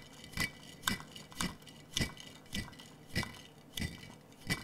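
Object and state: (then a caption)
Glass jar of marbles being shaken. A large clear glass jar with a metal lid, partly filled with small blue and clear glass marbles, is held in both hands and shaken. The marbles rattle inside the hollow jar in eight separate bursts of bright glassy clinking with a low thud, each fading quickly into quiet.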